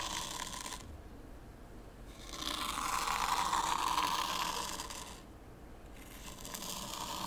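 Fingertips pull a small wooden T-shaped rake through a shallow layer of fine white sand in a small pine-wood zen garden tray with no stones, combing parallel lines. A gritty, hissing scrape swells in strokes, the loudest pass around the middle carrying a bright, steady tone near 1 kHz. The strokes fade between passes into quieter, duller rasping.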